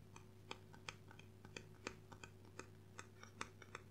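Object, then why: Hardcover book with cardboard cover. Gloved fingertips tap and scratch along the cardboard cover and edge of a solid, dark blue hardcover book held upright in both hands. The result is a quick, irregular series of short, dry, bright ticks that stop almost instantly, heard over a quiet, steady low hum.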